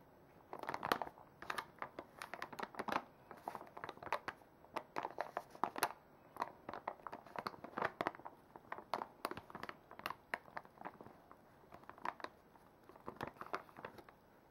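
A full plastic makeup wipes pouch is held and squeezed while its crinkly plastic is scratched with long nails. Dense, irregular bursts of crinkling and sharp crackles continue throughout, centered in the midrange with bright edges and almost no low end.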